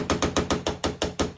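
Taps around the sides and top of a plastic bath bomb mold to break the suction, nine quick knocks with a hollow tone that shows the bath bomb has released. The mold then lifts off with nothing stuck inside.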